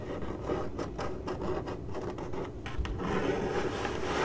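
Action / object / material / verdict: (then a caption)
scrape / corrugated cardboard box / cardboard / none. Long acrylic nails on both hands scratch the printed side of a hollow corrugated cardboard box. The result is a dry, papery rasp of quick strokes over a low, hollow rumble. It thickens into a steadier, continuous scratching toward the end.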